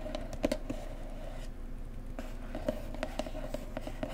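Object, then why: Cardboard gift box. A blue floral cardboard mug box resting on a cloth is tapped along its edges with fingertips and long nails. The result is a gentle, irregular series of short, dry, hollow taps with a low-mid tone and almost no ring, over a faint low background hum.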